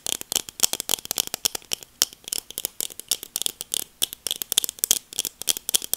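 Long acrylic nails rapidly tap black plastic sunglasses held near the mic. The clicks are sharp, dry and bright, with almost no low end and no ring. They come in quick, uneven bursts throughout.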